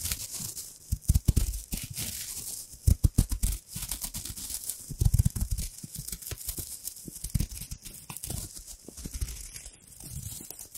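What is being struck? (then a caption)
Thin metal foil wrapper. Long manicured nails and fingertips crinkle and scratch a small, thin, crumpled gold textured foil wrapper with an embossed surface, held beside the microphone. Dense crackling and scratching come in bursts, with deep close-up thumps and a bright, hissy sheen.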